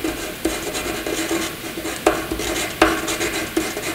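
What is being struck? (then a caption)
Graphite pencil on paper sheet. A graphite pencil scribbles handwriting-like marks across a flat white sheet of paper, making a continuous dry scratching rasp with bright, hissy texture and a faint steady tone near 320 Hz. Several sharper strokes punch out above the steady scratching before it settles back to a soft rubbing hiss.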